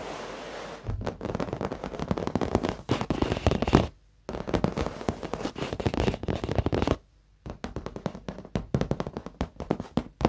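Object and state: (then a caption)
Leather office chair seat. Fingertips and short nails of both hands tap rapidly on the dark padded leather seat of an office chair, soft over foam. The result is a dense stream of dull, low, muffled thuds with little brightness. The tapping stops briefly twice, near 4 and 7 seconds, before resuming.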